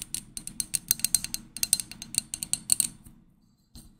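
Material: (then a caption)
Glass. A small, hollow, empty Pottery Barn pink glass drinking tumbler is held close and tapped and clinked with long manicured nails. About twenty quick, bright, dry clicks with almost no ring come in an uneven run, then fade into quiet. After a short pause, one last soft tap follows.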